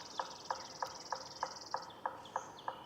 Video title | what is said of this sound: Forest on the Brink: Nature’s Last Line of Defense - Full Wildlife Documentary | Questo rituale risonante dimostra che la proprietà potenziale è grande e pulita.